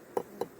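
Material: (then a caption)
Wood. A wooden beehive frame heavy with honey stores is tapped on its top bar to judge how full it is, giving three short, dull knocks with a low-mid body around 480 Hz and almost no ring. The frame sounds full compared with an empty one, and its thicker top had already marked it as full.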